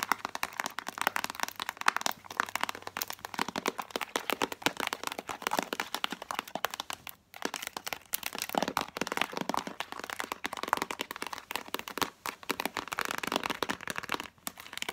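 A hollow Spontex plastic tub with a cardboard sleeve is tapped hard and fast by long nails on its clear plastic body and cardboard label. The result is a dense, continuous stream of sharp, dry clicks and crackles with almost no ring. The clicks are bright and mid-heavy with little low end, and there are brief pauses near 7 and 14.5 seconds.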